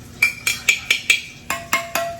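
A spoon taps eight times on the metal canning lid of a glass jar. Each tap gives a bright, short metallic ping around 2.4 kHz, not a dull thud. The ringing lid shows the jar is unsealed.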